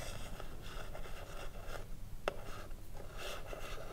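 Long blue acrylic nails scratch and tap the front face of a small, hollow wooden cigarillo box with gold print, standing upright with its lid closed. A soft, steady scratching texture over a low rumble is broken by one sharp, dry tap partway through.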